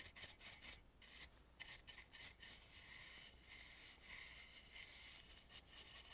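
A dry bristle brush sweeps over the carved relief along the edge of a red and gold carved, painted wooden mask. The result is a soft, airy, bright rubbing and scratching hiss in short repeated strokes, with no ringing.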